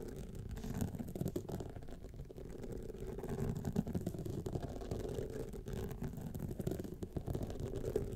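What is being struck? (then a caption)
Rhinestone-studded clutch wallet. Long fingernails scratch across the studded face of a gold rhinestone clutch wallet standing upright. The result is a steady, dense, low scratching rustle, thick with tiny rapid clicks and light rattling, that carries on without pause.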